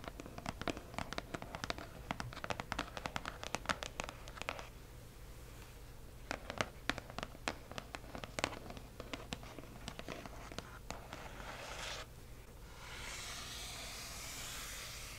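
Long nails rapidly tap and scratch the front of a hollow cardboard box printed with "Accio!", making sharp, dry clicks in quick bursts separated by a brief quieter pause. Near the end, a single fingertip traces across the surface, giving a steady, bright, soft rubbing hiss.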